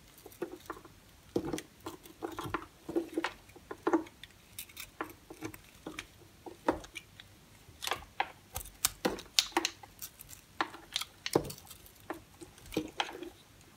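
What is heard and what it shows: A small metal blade carves and shaves a handheld, solid, speckled yellow-pink bar of recycled soap over a white sink, peeling crunchy flakes off its surface. The result is a quick series of short, dry, crisp scraping crunches with bright, crackly tops and almost no low end, each dying away almost instantly, with brief quiet gaps between strokes.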